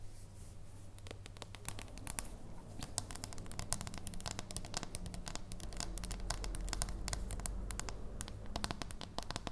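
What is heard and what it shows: Long nails tap and scratch the flat back and edge of a solid dark chocolate bar held in the hands. Rapid, irregular, crisp clicks and scratchy strokes run throughout, each dying away almost instantly, over a steady low hum.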